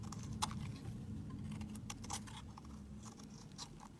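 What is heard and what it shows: A palm-sized solid pink bar of soap, held in the fingers, is shaved with a metal utility knife blade that scrapes and carves curls of soap onto a mat covered in shavings. Quiet, irregular, crisp scraping strokes with brief bright edges sit over a soft low background hum.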